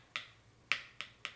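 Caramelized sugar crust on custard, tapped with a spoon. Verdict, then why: Set. A spoon taps four times on the hardened caramelized sugar crust of a torched crème brûlée after it has cooled for a couple of minutes. Each tap gives a short, bright, hard click with almost no ring, showing the amber crust has set brittle and firm over the custard.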